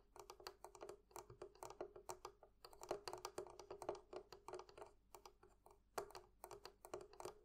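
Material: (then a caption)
Metal. Fingers or a tool tap repeatedly on the metal fittings of a barrel chest. A quick, uneven run of light, quiet taps, each a short, dry click with a faint tone near 400 Hz and a brief ring.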